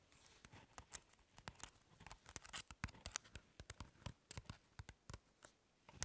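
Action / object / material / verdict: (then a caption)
scrape / crumpled aluminium foil ball / aluminium foil / none. A compact, crumpled aluminum foil ball, light and slightly hollow, rests on a table and is scratched and tapped with long nails. The result is a quiet series of short, crisp crinkling taps and scratches with bright metallic edges and almost no ring. The ticks come in uneven clusters throughout.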